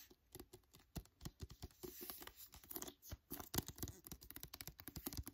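Fingertips and nails tap quickly on the paper card cover of a *Wonder* paperback book and scratch across it. The result is a quiet stream of short, dry taps with soft low thumps, mixed with papery scratching and bright crackle. Each tap dies away almost instantly.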